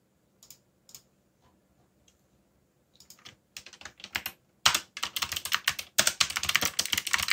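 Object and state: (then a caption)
Plastic mechanical keyboard. Fingertips type on a backlit mechanical keyboard with dark plastic keycaps, starting with a few scattered, quiet key presses. The clicks come faster and grow louder into a dense burst of bright, crisp clacks with short, dry decay.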